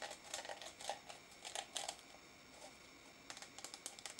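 Fingertips and nails tap and scratch the side and lid of a small pink translucent plastic tub with a lid, full of pink putty and held in the hand. Quiet, bright, dry clicks and scratches come in quick clusters, pause briefly in the middle, then resume as a run of sharper taps.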